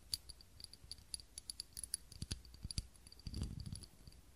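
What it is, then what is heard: Glass tealight candle holder. Fingernails tap the sides of a small, clear, textured glass tealight holder with a lit tealight candle inside, held close to the microphone. The result is a quick series of short, dry clicks with a high, bright glassy ping that fades almost at once. A brief low rustle comes near the end.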